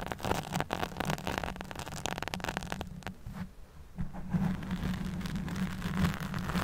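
A black foam windscreen on a handheld microphone is scratched with long fingernails. The result is a dense, crackly, rustling scrape with a strong low rumble and a steady low hum underneath. The scratching thins out briefly near the middle and then resumes.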